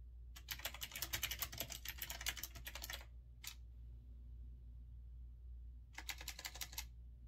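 Fingertips type rapidly on a retro typewriter-style mechanical keyboard with round keycaps, producing a fast burst of bright, crisp clicks for about three seconds. A single keystroke follows after a short pause, then a second quick flurry of clicks near the end, all over a steady low hum.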